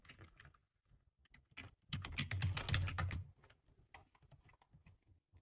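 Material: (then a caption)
Plastic. Fingertips type on the keys of a full-size dark plastic computer keyboard. Soft, scattered key taps give way to a louder, dense flurry of rapid keystrokes in the middle, then settle back into lighter, irregular taps. Each press has a low, dull thud under a short, bright click.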